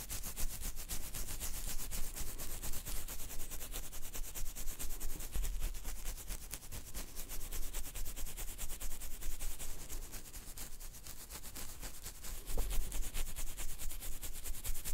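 The fingertips and nails of both hands scratch a full beard under the chin just above the microphone. The result is a steady, dense stream of rapid, crackly rustling scratches with a faint low rumble underneath. A few louder bursts stand out near the end.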